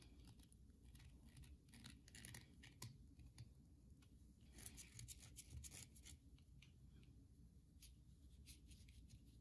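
Long nails scratch and tap a solid, carved white bar of soap held in the hand. Quiet, crisp, bright scratching bursts and short taps sit over a steady low hum, with a few louder clicks around the middle.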